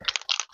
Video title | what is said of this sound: Les encres en spray, on en parle .... | secouer secrou secrou et vous entendez une espèce de petite bill à l'intérieur